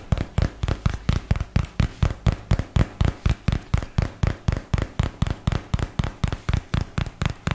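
A white and teal paperboard product box, held close to the microphone, is tapped on its faces with a fingertip and nail. About 31 quick, dry taps come in a fast, slightly uneven rhythm. Each is a dull, low, hollow thump around 90 Hz with a faint papery click and almost no ring.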